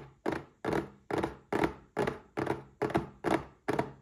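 A small red printed cardboard gift box holding a Paladone Mario Kart glass is turned in the hands and tapped with fingertips and short nails. Nine dull, hollow thunks land at a steady, unhurried pace, each fading quickly with a mid-pitched papery body and little ring.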